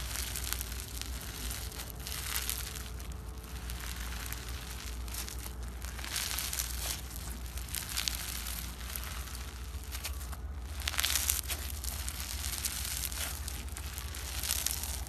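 A hand-sized lump of translucent red slime filled with plastic beads, solid and soft, is squeezed and pressed outdoors by fingertips with long painted nails. Dense, bright crunching and crinkling crackles continue throughout over a steady low hum, with louder bursts of crunching near the middle and end.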